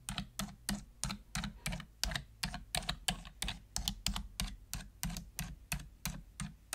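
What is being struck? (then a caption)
Plastic computer keyboard keys. A full-size black plastic computer keyboard with hollow plastic keys has single keys pressed slowly with a long-nailed fingertip. Each key gives a short, bright, clicky tap with a dull low thud beneath it, and the taps fall one after another at an uneven, unhurried pace.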